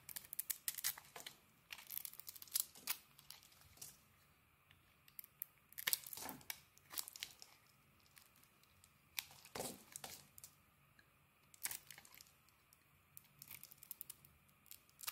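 A solid mint-green bar of soap is held in the hand and shaved with a metal blade, peeling thin strips off its surface. Quiet, bright, crisp scraping and crinkling strokes come in short bursts separated by brief pauses.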